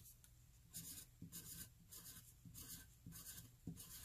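A hand-held graphite pencil writes more e's along the lower rows of a flat white paper sheet. Quiet, repeated bursts of bright, dry scratching rise and fall with each stroke, over a soft low rumble.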